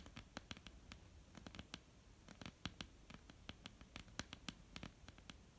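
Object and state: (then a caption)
Wooden tabletop tapped and scratched with nails. Long polished nails of both hands tap and scratch a flat, dark, solid wooden tabletop. Many quick, dry, bright clicks land in an irregular patter over a soft, steady scratching hiss. Each tap dies almost instantly, and the whole clip stays quiet.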